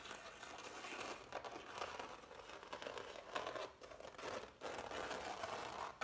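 Fingertips and nails scratch and rub along the ridges of thick, textured impasto oil paint on a framed canvas. The result is a continuous dry, crinkly scraping with rough bursts and brief dips, centered in the midrange around 1 kHz and carrying a bright, airy hiss.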